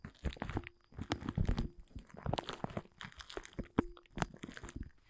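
Fingertips scratch and crumple a large, thin, dark blue woven polyethylene tent groundsheet lying flat. The result is dense, crisp crunching and crinkling in irregular bursts, mostly low with a faint bright edge, and each sound stops dead with no ring.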